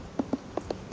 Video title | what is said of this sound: USaA - S03 E23 - vivre & laisser nourrir | Ça sonne tout plein, tout est plein.